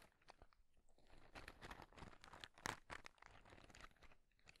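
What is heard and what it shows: Fingertips tap and scratch the surface of a small, light, hollow white cardboard matchbox tray held in both hands. The result is a quiet, irregular run of dry, crunchy taps and scratchy rustles with bright, papery detail, each sound dying away almost instantly.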